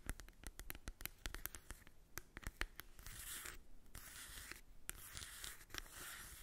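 Long acrylic nails tap and scratch the printed cover of a small, flat, hollow cardboard Too Faced Born This Way mini eyeshadow palette held in the hand. Quick, dry, hollow clicks come first, then give way to a steady, bright scratching hiss with a few more taps mixed in.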